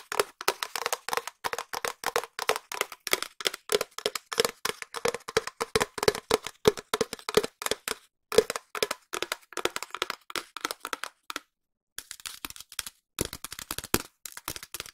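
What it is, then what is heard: Cardboard tube. Long fingernails tap a long, empty, hollow cardboard tube in quick, dry, clicking bursts. The tube gives each tap a short, hollow resonance around 440 Hz with a bright edge, and the taps die away almost instantly. The rapid runs carry on with only brief pauses, including a short silence just before the 12-second mark.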